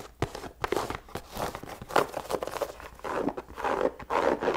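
Long nails scratch and tap across an empty white leather sneaker, working over the upper, the laces and the sole. Dry, rasping scrapes alternate with quick, short taps that die away almost at once, with the sound mostly in the midrange and some bright scratchy texture on top.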